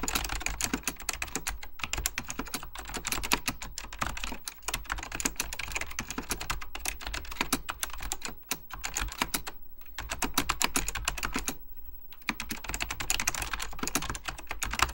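Fingertips with short dark-painted nails type steadily on the beige plastic keycaps of an Apple Extended Keyboard II, a plastic mechanical computer keyboard with a hollow plastic case. The rapid, bright clicking taps are dry and clacky, over a faint steady low hum. The typing briefly stops around the ten- and twelve-second marks before resuming.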